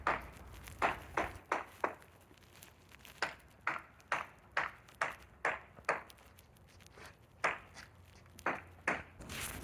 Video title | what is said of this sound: Buying a Sailboat - Part 1 - Electric Sailboat Conversion (Ep. 30) | using the sound of the rap to tell whether the core is possibly soft or delaminated